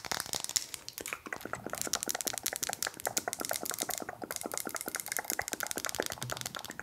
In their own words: 15:20 Tapping on wood